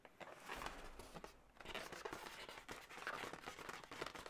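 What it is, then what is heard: Latex balloon animal. Long nails scratch and tap the body segment of an inflated, hollow, air-filled blue latex balloon dog. The result is a quiet, continuous run of squeaky rubbery scratching and soft, dull taps with brief, bright crinkly edges and little low end.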